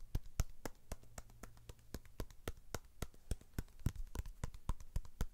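A whole, fist-sized red pomegranate with a firm rind, held in both hands, is tapped quickly with the fingertips and nails. The result is a fast, uneven run of short, dry taps, about four per second, each with a dull low thump and a brief bright click that dies away almost at once.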